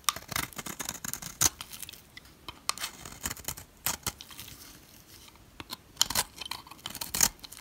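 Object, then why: Soap bar. A solid yellow oval bar of dry soap, held by hand, has flakes scraped off its flat face with a utility knife. The clip is full of bright, crisp scraping strokes and short crackly rasps with little low end. Louder swipes stand out now and then among the quieter shaving sounds.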